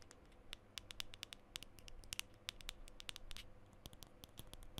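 Fingernails scratch up and down the top section of a black metal aerosol deodorant can labeled WILD. The result is a quiet run of quick, dry, bright scratching ticks with a faint metallic ring, over a low background rumble.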